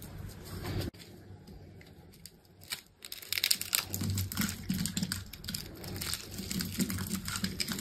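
A utility knife cuts and scrapes cubes off a solid soap bar with a black outer layer over a green core, scored in a grid. After a quiet start broken by an abrupt drop near the first second, dense, irregular crisp scraping and crumbly crackling builds from about three seconds on. The sound is bright and dry, with a low rumble underneath.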